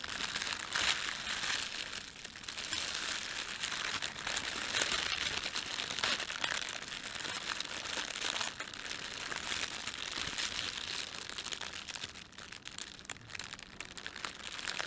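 Fingertips of both hands rub and crumple a thin, empty, red printed plastic bread bag, with a white plastic layer beneath it. The result is a continuous stream of dense, bright crinkling and crackling with almost no low end. The level stays fairly steady throughout, with brief dips.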